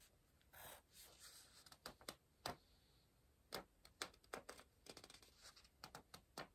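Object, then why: Paper puzzle book and wooden pencil. An orange wooden pencil circles and scratches across the printed page of a softcover paper word search book lying open on a pillow and held by one hand. A quick series of short, dry, bright scratching strokes and longer soft swishes sounds over a quiet background, with almost no low end.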